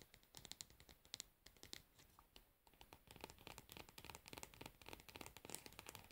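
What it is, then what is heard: Plastic cosmetic jar. Long nails tap and scratch the pink plastic lid of a cosmetic pad jar and run along its rim. The result is a quiet, rapid run of sharp, bright clicks mixed with dry, high scratching that thickens into a denser rasp in the second half.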